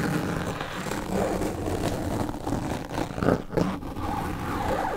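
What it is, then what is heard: Foam windscreen scraped with razor blades. Steel double-edge razor blades held in the fingertips scrape and scratch the surface of a black foam microphone windscreen with slits cut into it. The result is a steady, close, muffled scratching and rustling, heavy in the lows, with a few louder scraping bursts near the end.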